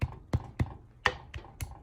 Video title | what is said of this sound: Rice with chick peas Pakistani Style (English) | just gently tap it and do you hear the sound this means there is no water